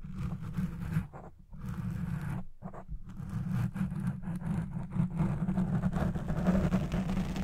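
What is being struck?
Foam microphone windscreen.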